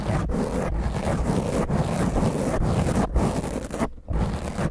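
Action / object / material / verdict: scrape / foam microphone windscreen / foam / none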